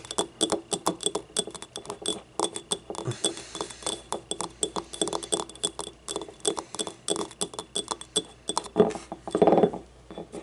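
A small, hollow, yellow ribbed ceramic paint cup is held on its side and tapped on its rim and inner edge with long nails. The result is a rapid, uneven run of light, glassy clinks that ring briefly around 430 Hz with bright overtones.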